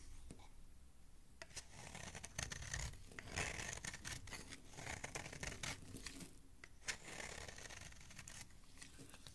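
A solid green oval soap bar is held between fingers while a metal blade scrapes along its edge, sending crumbly flakes falling below. The clip is a continuous run of dry, crisp scraping and crumbling with many small sharp ticks over a low, muffled rumble, swelling and easing in loudness throughout.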